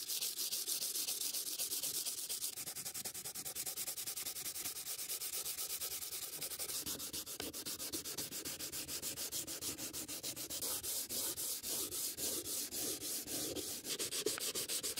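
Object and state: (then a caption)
Wooden box being sanded. A gloved hand rubs sandpaper back and forth over the lid of a closed antique wooden stamp box, about book-sized and hollow, lying on a table. The result is a steady, bright, hissing rasp made of quick, slightly uneven strokes, with very little low end. It keeps an even level throughout the clip.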